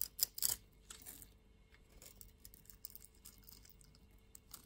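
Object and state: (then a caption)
Bar of soap being shaved. A green utility-knife blade scrapes and shaves a solid white bar of soap held in the palm into white flakes. A few loud, bright, crisp scrapes open the clip, then quieter dry scratching and shaving continues with short, sharp ticks and almost no low end.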